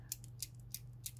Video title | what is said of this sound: Palamalzeme Palastone Tatlı bir Seri s-61, s-83, a-13, p-7, d-71, b-19. | sa voix est très belle, il a un ton merveilleux